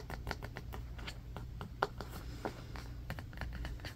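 A striped bamboo paddle hairbrush with black bristles stands on, then lies on, carpet while fingernails tap and scratch its wooden back and edge. The result is a quiet, fast patter of short, dry ticks and scratchy strokes, a few louder taps among them, over a steady low hum.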